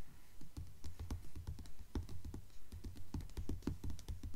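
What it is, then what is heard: Hardcover book tapped with nails. Long nails tap rapidly on the glossy paper dust jacket of a *Mockingjay* hardcover book lying flat on a table. The result is a quick, somewhat uneven patter of soft, dull, low thuds, each with a brief bright click. Every tap dies away almost instantly.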